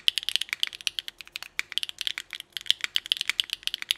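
Both hands type with their fingertips on a small Nuxros NR6 x VNMK mechanical keyboard with Hyacinth v2u switches, GMK Rainbow ABS keycaps and an aluminum plate. About 29 quick, sharp keystrokes come in an irregular stream, each a bright clack centered near 3 kHz that stops almost instantly, with no low-end thump.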